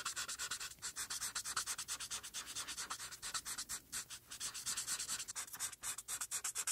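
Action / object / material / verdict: scrape / felt-tip marker rubbed on a paper sheet / paper / none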